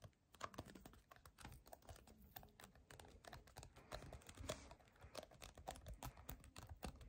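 Fingernails tap rapidly on a small clear/white plastic Cutex nail polish remover bottle with a pink label, held in the hands. The result is a quick, irregular stream of light, dry clicks with a short hollow plastic tock around 600 Hz and a soft low thump beneath, each dying away almost instantly.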